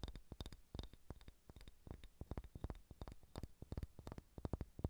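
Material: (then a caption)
Wood. A large, solid, unfinished wooden sphere held in both hands is tapped with long red-painted fingernails, making a quick, irregular run of soft, dull taps. Each tap is a short, low, muted knock that dies away almost at once, with faint bright clicks from the nail tips over a quiet background.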